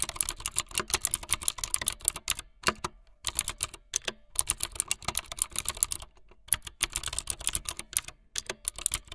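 Fingertips with long light-blue nails type fast on a full-size plastic mechanical keyboard with white, blue and yellow plastic keycaps and a blue backlit frame. Dense bursts of bright, crisp key clacks with very short decay run continuously, broken by a few brief pauses.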